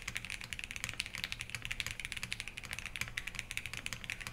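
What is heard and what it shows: A Think6.5 v3 compact 65% mechanical keyboard with Harmony on an FR4 plate, in a black metal case with white ABS keycaps, sits on a wooden desk while both hands type continuously with the fingertips. About 30 quick keystrokes produce bright, crisp clacks centred around 2.6 kHz that die away almost instantly, over a faint low rumble.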